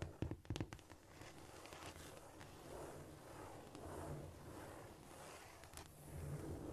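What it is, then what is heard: Cork floor. Long almond-shaped nails tap and scurry across a flat, solid cork floor. A few sharp, bright taps open the clip, then give way to a steady, soft scratching and rustling over a low hum.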